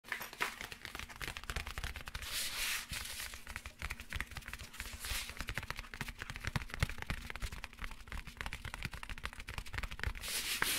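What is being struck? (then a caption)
Padded fabric laptop accessory case. Fingertips and short nails rub and scratch across the textile, nylon-like cover of a closed, medium black padded zippered laptop accessory case held upright. A dense, continuous stream of crackly, bright scratching and rustling fills the clip, with brief surges of brushy hiss and a faint steady low hum underneath.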